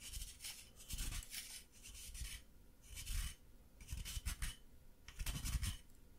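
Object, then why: Plaster block scraped with a wooden stick. A solid white plaster excavation block, held upright in the hand, is scraped with a wooden stick, producing repeated short bursts of dry, gritty rasping over a low rumble. Plaster dust falls onto the table as it is scratched.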